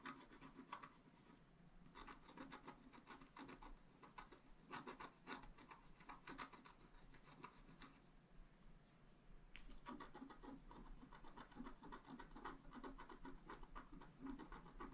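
A flat scratch art paper card lying on a table is scratched with a wooden stylus in short, repeated strokes near its top edge. The sound is a dry, raspy scraping that comes in quick bursts of strokes, with brief quieter pauses around 1.5 seconds and between 8 and 9.5 seconds.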